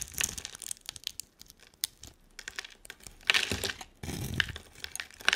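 A hand-sized solid green bar of soap with a dark coating is held in one hand and scraped and carved into strips with a utility knife blade. Short, bright crinkling ticks and crackles give way to two denser bursts of steady scraping, with little low end and almost no ring after each cut.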